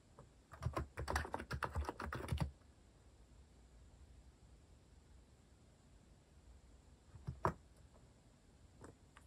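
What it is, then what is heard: Plastic mechanical keyboard. Fingertips type on a compact mechanical keyboard with a white plastic case and plastic cat keycaps, producing a quick two-second burst of short, dull clacking keystrokes. A long quiet pause follows, broken by a couple of sharper taps near the seventh second and one faint tap at the end.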